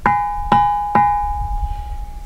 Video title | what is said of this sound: Shared Sky: David Morris Ringing Stones | they produce a ringing sound when beaten such as this